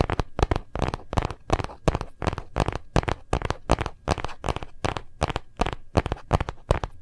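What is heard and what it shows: Fast fingernail and fingertip tapping on the back and edges of a phone in a hard plastic gold-print case held in both hands. About two dozen short, dry clicks with a low, thumpy body come in a quick, uneven rhythm and stop almost instantly after each hit.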